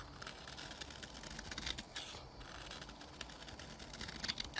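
A metal knife scrapes powdery curls from the face of a solid white rectangular bar of soap held in a hand with black nails. The result is a quiet, steady, bright scratchy rasp of dense, rapid scraping strokes that swell slightly louder near the end.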